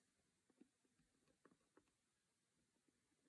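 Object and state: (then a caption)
Cardboard board-game box lid. Both hands tap and scratch with fingertips and short nails on the lid of a closed, square cardboard Monopoly board-game box, its white lid printed with a red Monopoly logo, lying on a cork surface. Very quiet, dull, hollow taps with a low-mid body come at an irregular pace over a faint scratchy hiss. Each tap dies away almost instantly.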